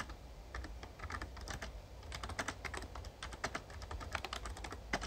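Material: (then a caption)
Plastic. Fast fingertip typing on a Razer Ornata Chroma, a full-size backlit plastic mecha-membrane gaming keyboard, produces a rapid, uneven stream of short, dry clicks and clacks with little ring. A steady low hum runs beneath the keystrokes throughout.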